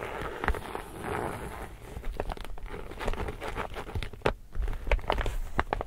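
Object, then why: Laminated woven polypropylene tote bag. Fingertips and nails rub and scratch the surface of an empty, glossy laminated woven polypropylene reusable tote bag held upright. The result is a steady, dry crinkling and scratching texture broken by sharp, irregular snaps and crackles that stop almost instantly. A low, soft rumble sits underneath.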